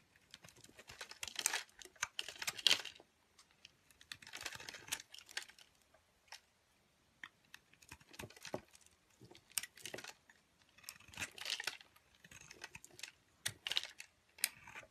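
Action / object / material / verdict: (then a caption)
scrape / bar of soap shaved with a metal blade / soap / none. A metal craft blade shaves crumbly flakes off a pale yellow, solid, rounded, hand-sized soap bar held in the palm. Each cut makes a short burst of dry, crisp scraping and crackling, bright and high with almost no low end. The bursts come in uneven clusters separated by brief silences.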